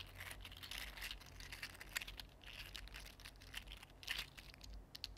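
A mini green 3D printed plastic articulated slug is bent into a curl and straightened again with the fingertips, its segments clicking against each other. The result is a quiet, dense stream of short, crisp, bright clicks and crinkly rattles over a faint low hum.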